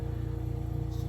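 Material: Nothing is struck.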